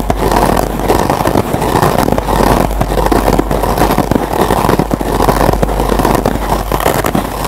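Several fingertips with short nails scratch the green nylon scour pad of a single foam scrub sponge up close. It makes a dense, continuous rasping scratch, strongest in the low-mid range, with a few brighter crackles. The level stays steady with gentle rhythmic swells throughout.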